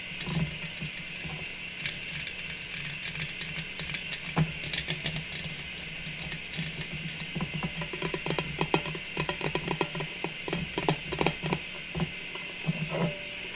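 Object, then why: Small metal tin with lid. Long pink nails tap rapidly on the lid and sides of a small, round, striped metal cookie tin with its lid closed and hollow inside. The result is a run of quick, bright, clicky taps with a short hollow ring, over a faint steady hum.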